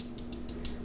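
A steel watch bracelet is moved on the wrist, and the loose locking portion of its clasp gives four short, bright metallic rattling clicks. The rattle comes from a connection that is not tight, a fault in the clasp.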